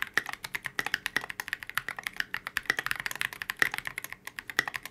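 Steady two-handed fingertip typing on a transparent polycarbonate KBD67 Lite mechanical keyboard fitted with C³ x TKC Kiwi switches and Oblotzky SA Oblivion V2 keycaps. Rapid, crisp keystrokes each produce a short, dry clack centered near 1.9 kHz, with bright ticks and almost no low end. The clicks stop almost instantly in a continuous stream.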